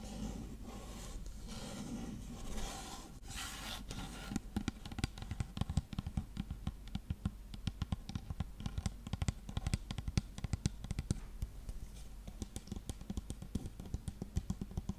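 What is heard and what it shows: A dark plastic shampoo bottle is scratched and tapped with long nails. It opens with about four seconds of soft, rustling scratching, then turns into a steady run of quick, dry, hollow taps that die away instantly. The taps carry a low thud beneath their bright clicky edges.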